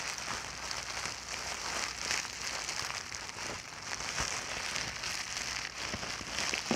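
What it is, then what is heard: Plastic bubble wrap. A clear plastic bubble wrap sheet is bunched and squeezed between both hands and fingertips. It gives a steady, bright crinkling with scattered sharp crackles over a light hiss.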